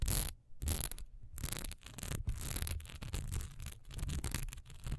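A single solid cream wax pillar candle with a raised diamond texture stands, then is gripped in both hands while long nails scratch fast along its textured sides. The result is a rapid, dry, bright rasping with a low handling rumble underneath, broken by a short pause near the start.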